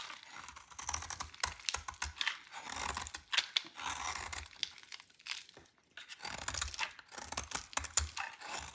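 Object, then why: Soap bar cut with a metal blade. A metal utility knife blade shaves a solid, dry purple soap bar held in the hand, peeling it into curly flakes. The sound is a dense run of crisp, bright scraping and crackling strokes with faint low thumps, broken by a few brief pauses.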